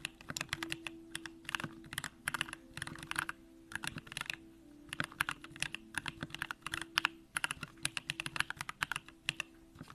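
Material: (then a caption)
Plastic. A compact Bakeneko65 mechanical keyboard with an aluminum case, Durock lavender switches and pink plastic keycaps is typed on continuously with the fingertips of both hands. Quick, bright clacks come in rapid bursts and short runs with brief pauses, each key strike dying away almost at once. A faint steady low hum sits underneath.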